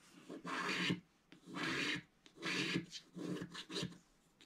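A wooden stick scratches across a flat, black-coated scratch-art paper page while the other hand holds the page steady. Seven rasping strokes of uneven length follow one another, each a bright, dry scrape over a low body, with short quiet gaps between them.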